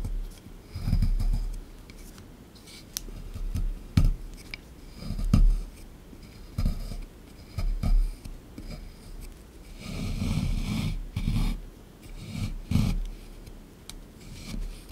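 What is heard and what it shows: A solid beige plaster excavation block in a tray is chiselled and scraped with a small plastic digging tool, and chunks crumble loose. Low, gritty scraping and scratching comes in irregular bursts, broken by short dry knocks and a faint bright crackle.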